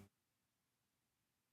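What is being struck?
Nothing is struck.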